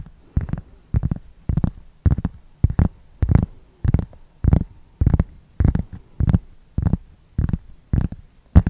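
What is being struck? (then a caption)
Round cork board. A large, flat, solid round cork board or coaster is held close to the microphone and scratched with long fingernails. Short, rough scratching bursts repeat at a fairly steady pace, each with a deep, muffled low-end thump and a faint bright edge, separated by near silence.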